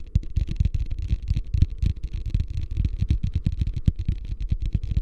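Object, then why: Plastic ice bucket. A medium beige, hollow, empty plastic hotel ice bucket is held upside down up close while fingertips and nails tap and scratch its sides. A quick, steady run of dull, boomy, hollow taps sits low in pitch, each dying away almost instantly, with a faint, bright scratchy rasp between them.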